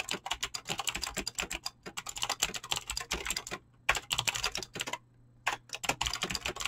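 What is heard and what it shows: Fast, continuous typing with fingertips and short nails on a full-size mechanical keyboard with Razer clicky green switches and dyed PBT plastic keycaps, resting on a desk. It produces a dense stream of sharp, bright clicks that die away almost instantly, with brief pauses just before 2 seconds and around 5 seconds.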